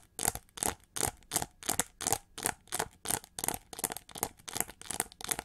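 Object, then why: Chrome-plated plastic hair brush. Long nails rapidly scratch the ridged feather texture of a winged, gold chrome-plated plastic hair brush held upright. The result is a steady run of short, bright, raspy scraping strokes at a quick, slightly uneven pace, each dying away almost at once.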